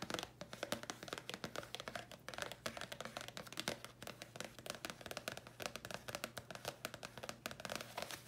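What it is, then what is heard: Paper card tapped with fingernails. A thin red printed paper card is held in both hands and tapped rapidly with long nails. The clip is a quiet, steady stream of short, dry, crisp clicks with a bright papery edge and almost no ring, over a faint constant low hum.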